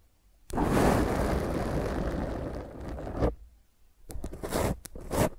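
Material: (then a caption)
Foam. A black foam microphone windscreen is gripped and scratched with the long nails of both hands. A loud, rough, rumbling scrape runs for almost three seconds and then drops to near silence. Shorter bursts of harsh scratching with bright edges follow.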